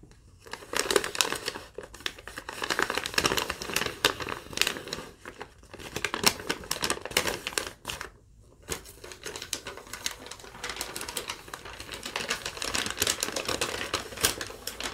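A thin yellow lined paper sheet is held up and then folded while long nails tap and crinkle it. The result is a steady stream of dense, bright crinkling and crackling with quick sharp taps and little low end, easing briefly to near silence around the eighth second before the rustling picks up again.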